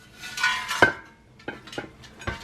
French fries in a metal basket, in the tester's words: you can hear how crispy they are